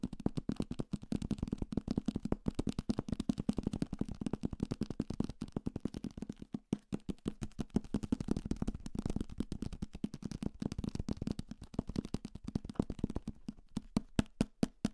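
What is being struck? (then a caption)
Paperback book, paper and card cover. A thick paperback copy of Salem's Lot, a solid paper block with a card cover, is held in the hand and knocked and tapped quickly with fingertips and nails on the cover and page edges. The result is a fast, dense stream of dry, dull taps with a low, hollow thud and almost no ring. Near the end the taps become sparser and sharper.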